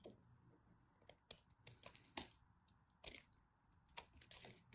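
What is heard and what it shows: A craft knife blade shaves and carves a solid blue-and-white striped bar of soap held in the fingers, cutting off small chunks. About eleven quiet, bright, crisp crunching cuts come at an irregular pace, each fading quickly.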